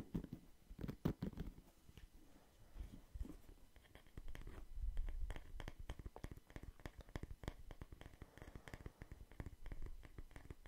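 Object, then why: Wooden paddle hairbrush with plastic bristles. Fingertips scratch the pink-white plastic bristles of a wooden paddle hairbrush and tap its solid wooden back as the brush is turned between the wood side and the bristle side. The result is a quiet run of dense, dull, low taps and short dry scratches that die away almost at once.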